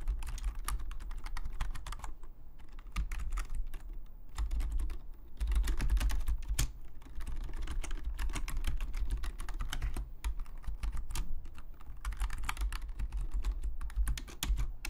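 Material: Plastic.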